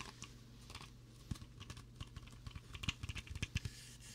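A green plastic Mountain Dew bottle, about 0.5 to 1 liter, hollow with a cap and a partly torn label, is held in both hands in front of a binaural mic and tapped and rubbed with fingertips and nails as it is turned. About seventeen quick, dry taps and clicks stand out, each with a short low thump and a bright crackly edge that dies away almost instantly. Soft scratchy rubbing and a steady low hum run underneath at a quiet level.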